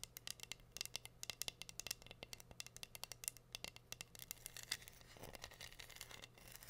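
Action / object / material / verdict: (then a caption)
scrape / wooden board covered in glued rhinestones / rhinestone / none. Long nails scratch and tap across glued pink rhinestones on a flat, solid heart-shaped wooden board. It makes a quick run of bright, dry clicks and scrapes with almost no ring, over a faint steady low hum. Near the end the clicks blur into a softer continuous scratching.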